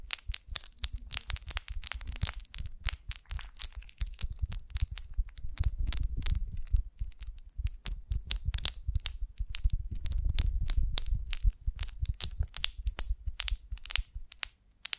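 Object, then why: Beeswax honeycomb on a branch. An upright, pear-shaped golden beeswax honeycomb on a branch is held in both hands while long nails scratch and tap its wax cells. Dense, dry crackles and crisp scratching ticks ring bright and die instantly, riding on soft, low thumps that swell around the middle and again near the end.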